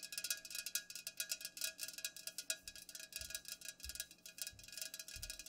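Long nails tap rapidly on the sides of an unopened Pepsi aluminum can, first held on its side and then set upright on a pink cloth. The taps are quick, bright metallic ticks with almost no low end, each dying away almost instantly in a steady, fast rhythm.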